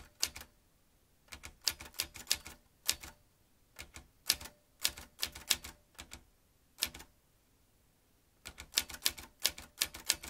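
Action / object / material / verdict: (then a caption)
strike / metal manual typewriter / metal / none. Fingertips of both hands type fast on the round keys of a vintage metal manual typewriter. Sharp, bright metallic clacks come in quick bursts, separated by short silent pauses. Each strike dies away almost at once.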